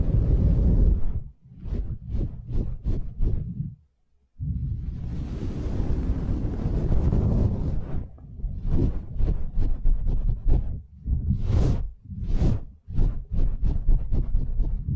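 Long manicured nails scratch the rounded, hollow metal mesh grille of a white condenser microphone, making deep, boomy scraping and rumbling sounds. Bursts of quick strokes give way after a brief silence to a long continuous rub, then more rapid scratching strokes with a few brighter, hissy sweeps.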